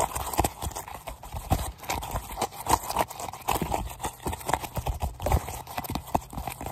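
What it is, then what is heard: Inflated synthetic leather football. Fingertips and nails tap quickly and irregularly on a worn, small, hollow, inflated Adidas football made of synthetic leather panels, held in both hands. The taps are short, dull, hollow knocks with a low thump and brief sharp clicks that die away almost at once.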